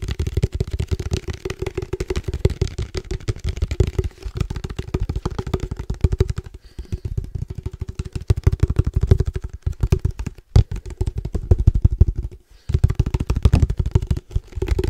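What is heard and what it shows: A hollow black cylindrical padel ball can with a red logo and a metal top is tapped quickly with fingertips and nails. The result is a fast, continuous run of dull, low, hollow knocks with a faint resonant tone and almost no ring, broken by a few brief pauses.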